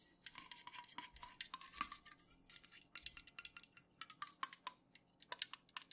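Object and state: Full aluminum soda can.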